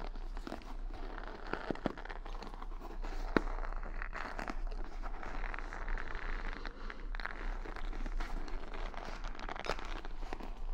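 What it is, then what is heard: Wooden hair brush bristles being scratched. Long nails scratch and flick the bristles of a wooden paddle hair brush decorated with beads and rhinestones, held close to the mic. The result is a steady, dense crackle of crinkly scratching, broken by a few sharper clicks and riding over a constant low hum.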